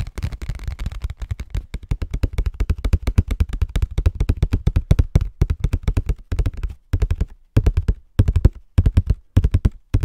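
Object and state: Cardboard tissue box.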